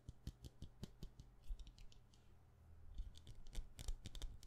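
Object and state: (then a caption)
Wax candle. Fast tapping on a wax candle produces quick, irregular, dry clicks with almost no ring. A steady low hum runs underneath, and the taps thin out briefly in the middle before picking up again.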